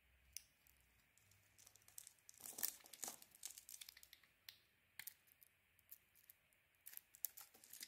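A solid red Nivea soap bar with a white core is held in the hand and shaved into curls with a metal blade. Soft, bright, crisp scraping and crinkling strokes come in irregular bursts, with a denser, louder stretch of shaving a little before the middle. Each stroke ends abruptly with almost no ring, over a very quiet background.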